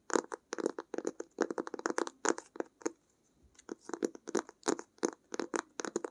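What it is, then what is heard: Fabric-covered hardcover sketchbook. Long acrylic nails tap and scratch the textured cloth cover of a closed blue-grey hardcover sketchbook held in both hands. The result is a rapid series of short, dry, crisp taps and scratchy strokes, pausing briefly about halfway through before continuing.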